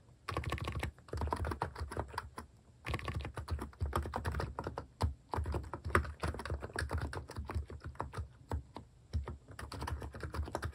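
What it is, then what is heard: Plastic keycap capacitive keyboard being typed on. Fingertips type across a capacitive keyboard fitted with plastic cat-shaped keycaps. Bursts of rapid, muffled keystrokes with a deep, low thock and very short decay are separated by brief pauses.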